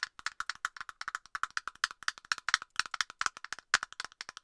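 Long nails tap rapidly on the hollow plastic cap of an aerosol can, making quick, dry clicks with a hollow, woody tone. The taps fall in a fast, uneven rhythm, each one very short with almost no ring, centered in the midrange with bright, high edges.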